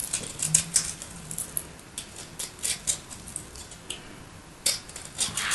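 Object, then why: Bar of soap scraped with a small metal blade. A solid, roughly cube-shaped block of white soap with purple flecks is held in one hand with long light nails while the other hand carves and scrapes it with a small metal blade, piling shavings onto a purple surface. Bright, crisp scraping and cutting strokes come in quick, dry bursts of high crackle with very little low end. Each stroke stops short with no ring, between quiet pauses.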